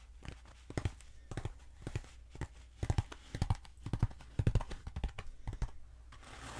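Long acrylic nails scratch and tap along a long, black, hollow foam pool noodle held diagonally, its textured surface rasping under the nails. Short, dry scratching bursts come in an uneven rhythm over a faint low hum. Each stroke stops quickly with almost no ring.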